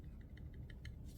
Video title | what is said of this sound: Kershaw Livewire - Rundown Episode 011 - A Brief Look at Kershaw's Entry Into OTFs | the button will move a little bit if you kind of tap with your finger, but it will not rattle